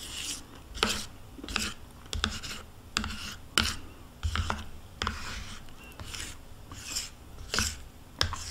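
A metal spoon scrapes the inside of a small, hollow plastic yogurt cup held in the hand and partly full of yogurt. The result is a series of short, bright, raspy scrapes at an uneven pace, with a soft, wet, low thump beneath some strokes.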